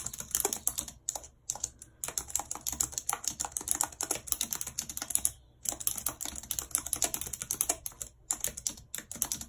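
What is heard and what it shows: Long red acrylic nails type rapidly on a white low-profile plastic wireless keyboard with a full number pad and hollow housing, lying flat on a map-printed surface. The result is a dense, bright clatter of short, sharp key clicks with almost no low end. The typing stops briefly near 1.5 and 5.5 seconds before resuming.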